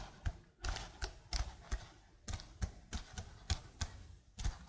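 Long blue nails type quickly on a slim black plastic computer keyboard, producing a quiet, uneven run of short clicky taps. Each keystroke has a soft low thud with a bright click on top, and the taps die away almost instantly.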